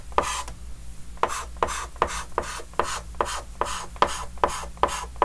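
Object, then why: Chalk stick on a wooden-framed chalkboard. A white chalk stick held in the fingers scratches fast hatching strokes across a large, flat, dark green wooden-framed chalkboard. There are 13 short, rasping scrapes in a steady rhythm, each with a squeaky tone near 1 kHz and a bright, gritty hiss that stops almost instantly.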